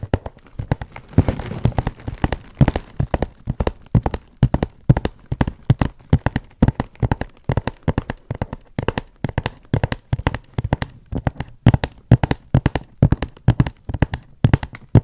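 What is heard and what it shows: A large hollow cardboard box wrapped in shiny gold paper with glitter letters is held upright and tapped and scratched with long acrylic nails. Rapid, steady streams of short, dull, hollow knocks with deep low thumps ring out and stop almost at once, with a brief stretch of faint papery scratching near the start.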